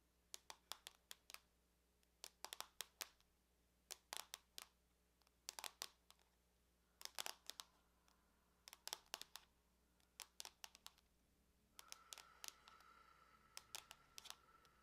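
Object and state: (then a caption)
Aluminum laptop lid tapped with nails. Long nails and fingertips tap and click on the lid of a closed silver aluminum laptop with a logo, its thin hollow shell giving back bright, dry clicks that die away almost instantly. About 45 quick taps come in short bursts separated by pauses, with little low end, and a faint steady mid-pitched tone rises under the last few seconds.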